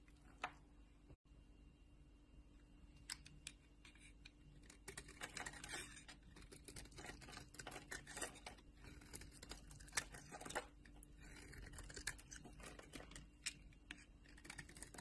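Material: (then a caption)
Soap. A solid orange Dalan soap bar held in the palm is scraped and carved with a metal utility knife blade, shaving off crumbly flakes. Soft, dry, crackly scratches and quick bright ticks repeat densely over a low steady background hum, growing busier after the first few seconds. Each scrape is short and stops dead with no ring.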